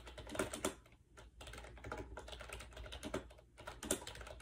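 Fingertips type fast on a compact gray plastic AJAZZ 308i wireless Bluetooth keyboard with round white keycaps, resting on a bed. The hollow plastic keys give quick, soft clacks in uneven bursts with brief pauses, and a few sharper, brighter strikes stand out.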